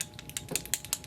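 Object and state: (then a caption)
Lip oil bottle with mixing balls rattling inside. A small bottle of bi-phase hydrating dual lip oil is shaken to remix its separated formula. The little mixing balls inside rattle in quick, bright clicks over about a second. Ten short hits stand out, each dying away almost at once.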